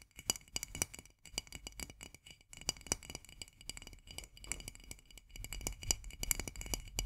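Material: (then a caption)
Glass. Long nails tap quickly on the glass sides of a full jar of marmalade, making a dense run of bright, clicky taps that die away almost at once. Each tap carries a high glassy tick over a soft low thud from the full jar.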